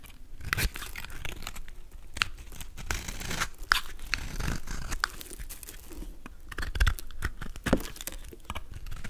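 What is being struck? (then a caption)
Bar of soap cut with a knife blade. A golden utility knife blade scrapes and carves small cubes off a solid, palm-sized blue soap bar with a pre-scored grid, held in the hand. Dry, crunchy scraping and crinkly tearing sounds run throughout, broken by sharp, crisp snaps as pieces break away.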